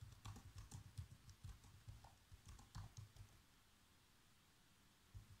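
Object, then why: Plastic laptop keyboard. Fingertips type on the black plastic keys of a laptop keyboard, giving a quick, irregular run of soft taps with a dull low thump and a faint bright click on each press. The typing fades into near silence after about three seconds, and one last tap lands near the end.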